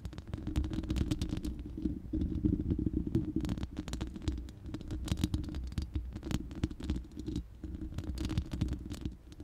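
Long manicured nails of both hands scratch and tap the uncovered, hollow round steel mesh grille of a large studio microphone. A dense, continuous patter of quick scratchy taps and short bright clicks rides over a heavy low rumble, with a steady tone around 324 Hz.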